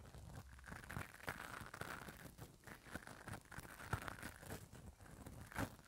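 A spoolie brush on an orange handle is brushed over the top and side of the hollow metal mesh head of a small handheld microphone. It makes a close, continuous scratchy rustle with crinkly, tearing-like texture and a strong low rumble, broken by brief sharper scrapes. Each scrape stops dead with no ring.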